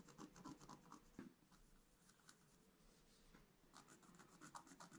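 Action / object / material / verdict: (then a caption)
scrape / coated scratch art paper scratched with a wooden stylus / coated paper / none. A pointed wooden stylus, held in the fingers, scratches a flat black-coated scratch art paper sheet over a gold layer, lying in a book on a table while the other hand holds the sheet still. Quick, dry, raspy scratching strokes come in fast, uneven bursts with a bright edge, busy at the start and end with a softer, quieter stretch in the middle.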